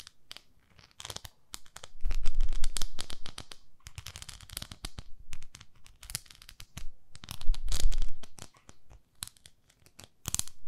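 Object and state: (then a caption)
Silicone facial cleansing pad being scratched. Long nails scratch across a palm-sized beige textured silicone facial cleansing pad held up in one hand. The result is rapid, dry, crackly scratching and crinkling with bright, hissy texture, swelling into louder dense bursts around two to three seconds and again near eight seconds. Quieter, sparser scratches and short pauses fall in between.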